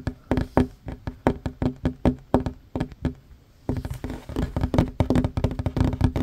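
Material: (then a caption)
Wood. Hands with short fingernails fast-tap a flat, solid wooden tabletop, making quick, dry knocks with a low thump and a bright click that die away almost at once. The taps come in a steady run, pause briefly just before the midpoint, then return as a denser, faster flurry.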